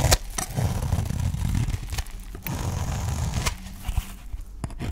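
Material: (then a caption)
Soap. A utility knife blade shaves strips off the edge of a solid green, dry olive-oil soap bar held in hand. The result is a continuous low, rough scraping with a crumbly texture, broken by several sharp, bright clicks as the blade catches and breaks through.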